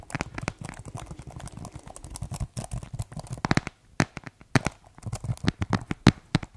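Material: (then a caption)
Plastic. Fingertips type on the keys of a keyboard with a white plastic case, producing a dense run of quick, dry clacks and taps. The keystrokes carry a low thump under short, bright clicks that die away almost instantly, with a couple of brief pauses before the typing resumes in sharper, more spaced-out strokes.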